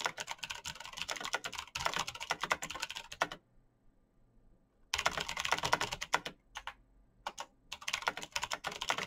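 Fingertips type quickly on a black RGB mechanical computer keyboard with plastic keycaps and clicky switches. Dense runs of sharp, bright clacking keystrokes stop for about a second and a half of near silence, then return as another fast burst and scattered single key presses. Each click dies away almost instantly.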